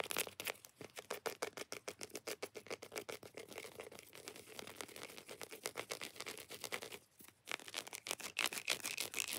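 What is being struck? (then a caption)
Segmented chocolate bar. Long nails scratch quickly and roughly across the raised squares of a large, solid, segmented chocolate bar held in the hand. The result is a dense, bright, dry scratching with rapid strokes, and it pauses briefly near the end before resuming.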